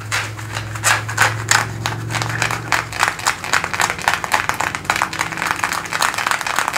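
Fingertips and nails scratch and rub worn blue denim jeans, thick cotton twill fabric over the thigh and back pocket area. Quick, irregular bursts of dry, bright scratching rasp one after another, with a faint low hum beneath during the first three seconds.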